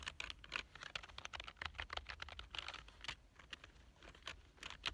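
Fingertips type steadily on a black plastic full-size keyboard lying on a couch. The result is a rapid, uneven run of short, bright clicks and clacks centered around 2.5 kHz, each dying away almost instantly, over a faint low rumble.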